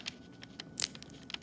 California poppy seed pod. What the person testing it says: Hear that snapping sound? That's what they should sound when you open them.